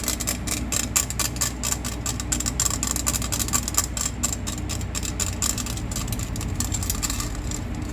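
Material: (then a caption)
Stainless steel. Long nails scratch rapidly along the perforated faces and edge of a hollow stainless steel box grater, making a dense run of rasping strokes with a bright, high metallic whine. A steady low rumble sits underneath throughout.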